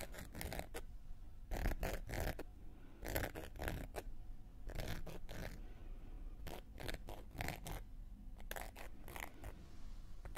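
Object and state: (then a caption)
Cork coaster scraped with a wooden needle. A round, flat, solid cork coaster held in one hand has its rim and surface scraped and scratched with a thin wooden knitting needle. Short, bright, scratchy strokes come in quick clusters with brief pauses between them, over a steady low rumble.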